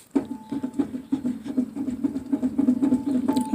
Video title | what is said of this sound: insta mech a nic (vol 30) got brakes ? | Wow that is a bad wheel bearing